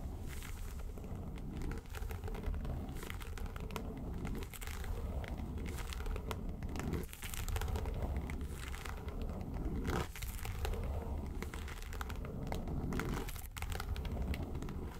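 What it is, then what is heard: Faux leather makeup case. Long nails scratch the lid of a small, hollow, yellow textured faux-leather makeup suitcase, making a steady crinkly, crackling scratch over a deep low rumble. The scratching runs continuously for the whole clip with slight dips in loudness.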